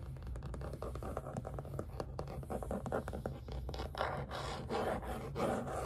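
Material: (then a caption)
Canvas. Fingernails scratch and rub across the surface of a white primed artist canvas stretched on a frame, about letter size, tilted against the table. A steady run of quick, dry scratching strokes plays over a low rumble, with rougher rubbing passes swelling in the midrange toward the end.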